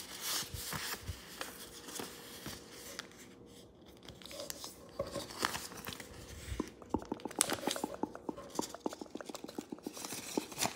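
A thin square sheet of green origami paper on a wooden table is folded into a triangle and creased with the fingertips, rubbing along the folds. Soft papery rustling and crinkling give way, in the second half, to a quick run of sharp, dry ticks as the creases are pressed, over a faint steady low hum.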